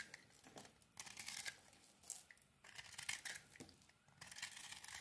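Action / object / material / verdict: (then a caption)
scrape / soap bar scraped by a metal blade / soap / none. A metal blade peels and scrapes a solid, crumbly white soap bar with a pink coating. It makes bright, dry scraping and crinkly tearing strokes in short bursts, separated by quiet pauses.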